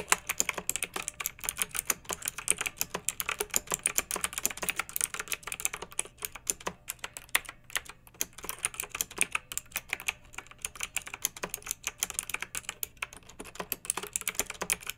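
Long-nailed fingertips type steadily on a pink plastic mechanical keyboard with round retro keycaps and blue backlighting, resting on a fluffy rug. Rapid, bright, clacky keystrokes die away almost instantly, with a few short pauses between bursts.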